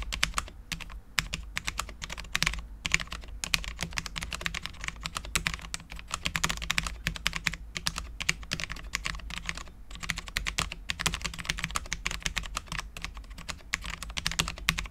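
A custom Cherry MX10.0 full-size low-profile mechanical keyboard with Cherry LP switches, dark ABS keycaps and a steel plate is typed on continuously with the fingertips of both hands. The result is a fast, steady stream of crisp, bright key taps that die away almost instantly, with brief pauses between bursts over a faint low hum.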